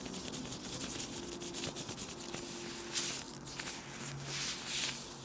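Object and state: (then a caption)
Plastic gloves rubbed and crinkled. Thin, loose, transparent plastic disposable gloves worn on both hands are rubbed and crinkled together close to a small black clip microphone. A dense, bright crinkling rustle swells and fades in quick bursts, with a faint steady low hum underneath.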